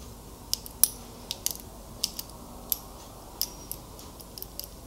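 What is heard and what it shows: Fingers click the clasp and fiddle with the links of a small metal wristwatch with a link bracelet, held close. About eleven sharp, bright metallic clicks and taps ring out separately over a quiet, faint hiss, each dying away almost instantly.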